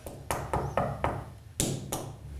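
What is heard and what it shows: Wooden roof beams in an apartment, eaten hollow from the inside by termites and starting to sag, are tapped seven times. Each tap gives a short, dull, hollow knock that dies away quickly.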